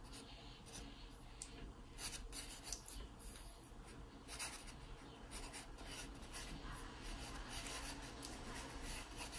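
A hand-held wooden pencil scratches light sketch strokes across the page of an open paper sketchbook. The quiet, irregular strokes give a dry, bright rasping over a steady low background hum, growing briefly louder in a cluster of quick strokes near the start.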